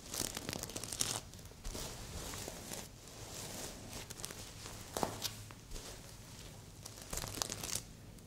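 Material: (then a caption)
Plastic sequins. Long red and pink nails scratch across a medium, soft stuffed heart-shaped pillow covered in red and silver reversible plastic sequins. The result is bright, crackling rasps and crinkly tearing-like swipes in uneven bursts, with quieter rustling in between.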